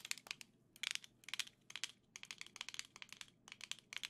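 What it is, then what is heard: Plastic game controller in grip. Gold Joy-Cons attached to a black plastic grip are held in both hands and tapped with long nails. Quick bursts of bright, dry clicking taps come in irregular clusters, quiet and almost entirely high-pitched, each tap stopping instantly with no ring.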